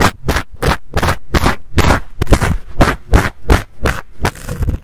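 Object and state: Fuzzy fabric microphone cover.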